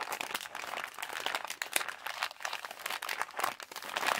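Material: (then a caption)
Plastic. Fingertips and nails scratch and crinkle the plastic near the opening of a yellow Halls plastic candy pouch. A dense, continuous run of sharp, crisp crackles and rustles fills the clip, bright and papery with almost no low end, swelling and easing in short bursts.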